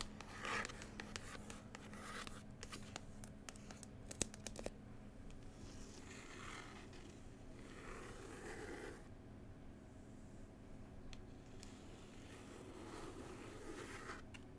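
Long pointed white nails tap and scratch up close across the glossy, textured printed cover of a solid paper New Zealand travel book lying flat. Sharp, crisp taps cluster in the first five seconds, then give way to softer, sweeping scratches and rubs over a steady low hum.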